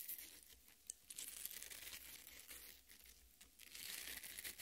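Long red nails dig into and scratch the flesh of a half watermelon resting on a plate. The result is a quiet, continuous, bright crinkling and tearing scrape with irregular bursts and almost no low end.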